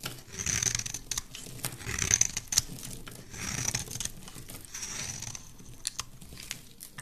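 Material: Soap.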